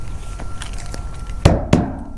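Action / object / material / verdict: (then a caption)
knock / steel shipping container / steel / full. A truck driver knocks twice on a steel intermodal shipping container in a yard to check whether it is empty. The two knocks are dull, low thuds that die away quickly without ringing. The container sounds full, and a seal on it confirms it is loaded.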